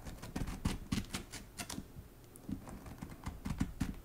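Long nails tap rapidly on the patterned paper endpaper inside the board of a hardcover book lying open. The result is a quick, irregular patter of dull, low, dry taps with short bright clicks and no ring, easing off briefly in the middle before picking up again.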